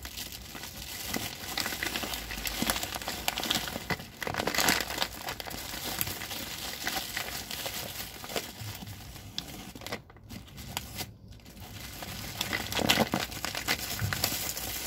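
Fingers rub and crinkle the plastic near the red handle of a large white plastic rice bag with red print, full of rice. A steady, bright crinkling and crackling rustle runs throughout, swelling louder around 4.5 and 13 seconds. Two brief near-silent gaps fall around 10 and 11 seconds.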